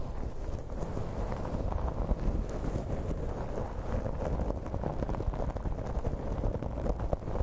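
Fingers with long nails scratch and ruffle the fibers near the top of a light blue synthetic-hair wig pulled over a microphone. The result is a steady, dense, low rustling and scratching with many quick soft crackles and little high-end brightness.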